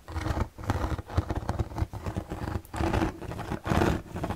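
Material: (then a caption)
Plastic. Fingertips scratch and tap the white slotted panel of an empty, hollow plastic storage box held in both hands. The result is a busy run of dry scratching and quick patter, with a low, boomy resonance from the hollow box and short, soft bursts of brighter rasp.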